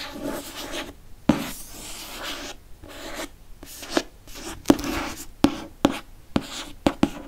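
Fingertips trace and rub across the glossy cover of a hardcover *Prisoner of Azkaban* book, making soft, breathy scratching and swishing strokes. Eight short, sharp taps or ticks stand out between the rubbing passages.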